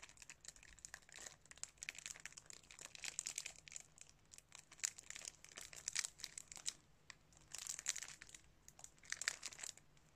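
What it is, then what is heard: Cellophane-wrapped plastic DVD case. A plastic DVD case, still sealed in its thin cellophane wrap, is held in both hands while fingertips crinkle and rub the wrap. Dense, bright crackling comes in bursts with short pauses between, and the sound is almost entirely high with very little low end.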